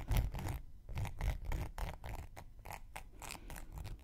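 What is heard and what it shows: A thin wooden knitting needle scrapes along the rim and edge of a round, flat, solid cork coaster held in one hand. It makes a quick, uneven run of dry, scratchy strokes, each a short bright rasp over a soft, dull low rumble.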